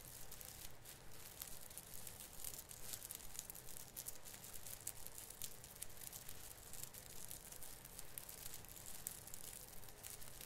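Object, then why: Artificial fir branch with plastic needles. Fingertips repeatedly rub and pinch the tip of a branch on an artificial fir Christmas tree with plastic needles. The result is a steady, dense crinkling made of quick bright crackles, with a soft low rumble underneath.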